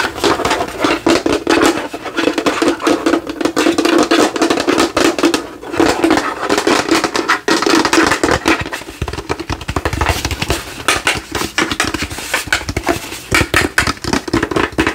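Fingernails tap rapidly on the sides and front of a hollow, hand-sized plastic light-up skull that glows and is held in both hands at chest height. The result is a dense, continuous stream of short, hollow plastic clicks with a steady resonant midrange tone throughout.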